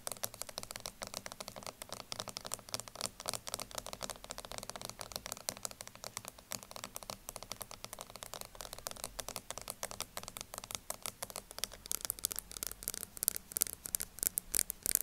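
Long nails tap rapidly on the black plastic lid of a small, round, upright plastic loose-powder jar, then grip and tap its sides. The result is a dense stream of short, dry, bright clicks with almost no ring. Near the end the taps grow sparser, sharper and louder.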